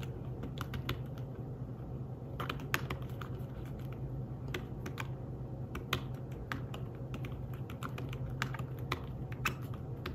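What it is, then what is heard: Fabric-covered tablet keyboard. Fingertips type quickly on a thin, flat, grey fabric-covered folio keyboard for a tablet, producing soft, dull tapping clicks with brief bright edges. The keystrokes come in uneven bursts and pauses over a steady low hum.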